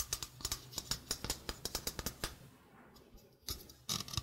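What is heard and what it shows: A small, hollow stainless steel mesh sink strainer is held close and tapped and scratched with long painted fingernails. A quick run of sharp, bright metallic taps gives way to a quieter stretch of soft scratching across the mesh, then a few louder rattling taps on the mesh and rim.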